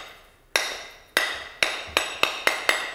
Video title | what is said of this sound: BRAQUAGE CULINAIRE S01E01: Marine LORPHELIN | Elle sonne comme ça parce qu'elle est bien pleine